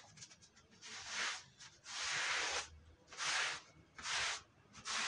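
A long-handled stiff brush scrubs a damp, dirty red patterned woven wool Persian rug. It makes five separate bright, hissing scrubbing strokes that swell and fade in an uneven rhythm, with quiet gaps between them.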